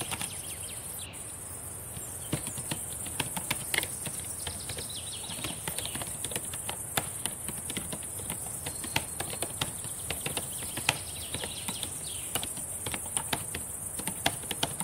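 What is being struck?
Plastic laptop keyboard keys.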